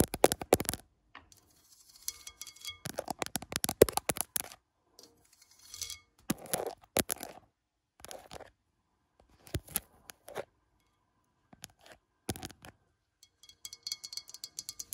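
Long nails scratch and tap along the ribbed side of a large round white ceramic planter with horizontal ribs, hollow and filled with soil, standing on a wooden bench. Quick bursts of dry, bright scraping and clicky taps come in clusters separated by short silences, with no lingering ring.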